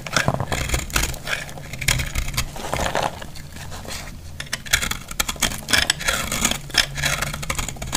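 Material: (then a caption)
Soap. A metal utility blade cuts and scrapes a solid, flaky, dry recycled purple soap block. It makes a dense run of crisp, bright scraping and crumbling crackles over a low, steady hum, with short sharp bursts between quieter stretches.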